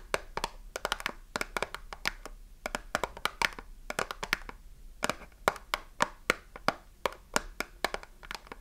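Long nails tap the edges of a small cardboard soap box with a bar inside, held in both hands while it is gripped and squeezed. Dozens of short, dry, clicky taps arrive in quick irregular bursts with brief pauses between them. Each one is bright and papery and dies away almost instantly over a faint low hiss.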